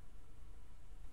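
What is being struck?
Nothing is struck.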